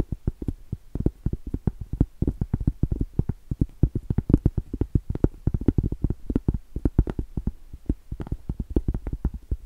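Long stiletto acrylic nails tap rapidly on the face and along the thick edge of a round solid cork trivet. Each tap is a short, dull, low thud that dies away almost at once, with no ring and little brightness. The tapping runs steadily and unevenly for the whole clip.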